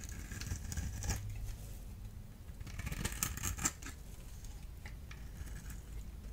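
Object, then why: Bar of soap cut with a small metal blade. A solid blue-and-white striped bar of dry soap is held in the hand and scraped and cut with a small metal blade tool. The clip carries quiet, irregular scratchy scraping with crisp, bright clicks and crackles over a low rumbling background, peaking around one second and between three and four seconds.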